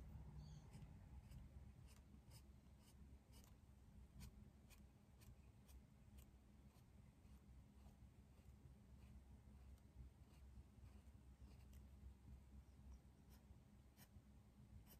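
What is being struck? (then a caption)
Pencil on a paper drawing pad. A dark green pencil is rubbed and scratched over the sheet of a large white paper drawing pad on a desk while coloring in a leaf drawing. Soft, steady scratchy strokes with faint bright ticks run throughout over a low, constant hum, and the sound stays quiet and even from start to finish.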